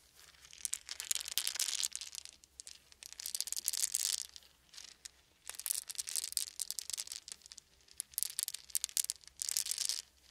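A handful of small round wooden beads is cupped in the hands, shaken and rolled between the palms and fingertips. The result is several bursts of dense, bright clicking and rattling, separated by brief quiet pauses. The clicks are sharp and dry, with no low end and no ring.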